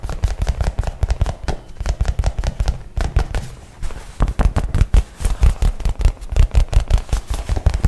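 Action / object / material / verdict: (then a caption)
tap / nylon shoulder bag / nylon / none. Fingernails rapidly tap and scratch the fabric surface of a light blue nylon messenger bag held up in the air. The result is a fast, uneven stream of dull, low thumps with quick crackling scratches between them, each hit dying away almost instantly, with a brief quieter stretch near the middle.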